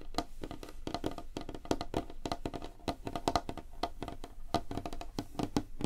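Both hands tap rapidly with nails and fingertips on a large, flat, solid light-wood tabletop. The result is a quick, uneven patter of short, dry, woody clicks that die away almost instantly, with a hollow mid tone around 700 Hz.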